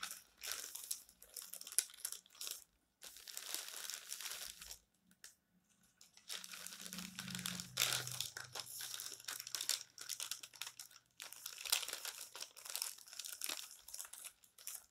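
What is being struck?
Glossy paper magazine.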